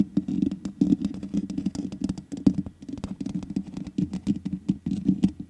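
Long nails tap and scratch the black metal mesh grille on the hollow head of a large USB condenser microphone. The result is a dense, uneven patter of quick taps and scrapes with a hollow, low thump around 200 Hz and faint bright clicks on top. Each tap dies away almost at once.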